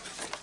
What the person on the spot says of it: ici ça sonne plus léger